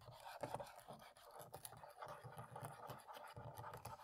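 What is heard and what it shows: A cotton swab scratches between the black plastic keys of a laptop keyboard while the other hand rests on the palm rest. The result is a quiet, continuous run of soft, dry scratching and rubbing strokes with a mid-pitched texture and faint low thumps.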